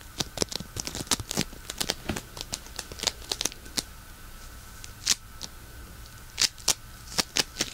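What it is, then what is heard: Polystyrene bead floam. A solid lump of pink polystyrene bead floam is squeezed, pinched and crunched with fingertips and thumbs. It gives a rapid, irregular series of sharp, bright crackles and pops with very short decay, and a few louder crunches stand out above a faint steady hum.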